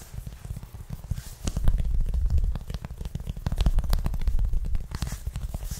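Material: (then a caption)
Cotton. Fingertips and short nails of both hands scratch and rub a white cotton t-shirt worn on the chest under an open checked shirt, while a metal chain necklace above stays untouched. The result is a dense, muffled, low-pitched scratching and rubbing with quick, irregular strokes that swell and fade.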